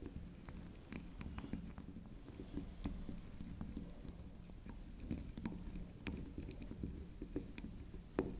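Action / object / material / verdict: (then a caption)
tap / small soap bar tapped with acrylic nails / soap / none. A small, solid cylindrical bar of soft pink soap shaped like a swirl candy, with a spiral top, is tapped and scratched on that spiral top by long pink acrylic nail tips. Many quick, dull taps mix with soft scratching over a low, steady background hum, staying quiet and close throughout.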